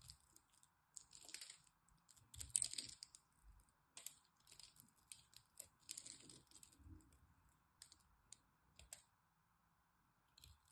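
A solid green bar of dry soap is held in the hand while fingers crumble its loose scored cubes, then a blade scrapes across the surface. Quiet, bright, dry crackles and crisp clicking bursts come in irregular clusters with no ring. A faint steady hiss sits underneath throughout.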